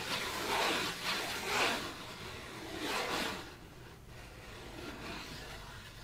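A white printed disposable paper plate, thin and flat, is scratched and rubbed with fingertips and nails. Bright, dry scraping strokes swell and fade in uneven passes, softening toward the end.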